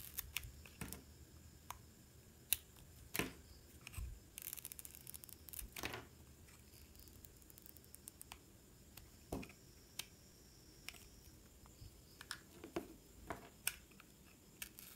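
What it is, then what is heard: Bar of soap being cut. A metal utility knife blade cuts and shaves thin strips off a solid blue-and-red speckled bar of soap held in the hand. Quiet, irregular crisp clicks and short bright scrapes come throughout, with a denser run of shaving around the middle. Each sound stops dry with no ring.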